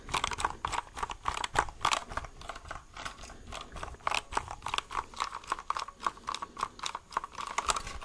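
A white plastic mechanical keyboard, held upside down with its label visible, is tapped with fingertips on its hollow plastic underside. The result is a quick, uneven run of short, dry, hollow taps with a clicky midrange tone around 900 Hz and little ring or low end.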